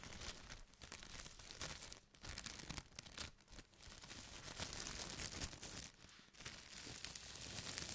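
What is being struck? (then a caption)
Thin plastic carrier bag. A thin white plastic carrier bag has its top layer lifted, then pressed and rubbed flat with the palms and fingertips. It gives a steady, bright crinkling and rustling that swells and dips over the clip.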